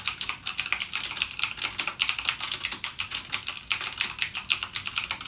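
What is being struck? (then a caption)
Plastic mechanical keyboard keys. Fingertips type continuously on a backlit mechanical gaming keyboard with plastic keycaps and clicky Cherry MX Blue switches. The result is a rapid, steady stream of about 40 sharp, bright clicks with almost no low end, each dying away almost instantly.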